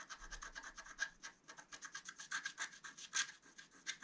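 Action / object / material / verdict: scrape / scratch-art paper sheet scratched with a wooden stylus / coated paper / none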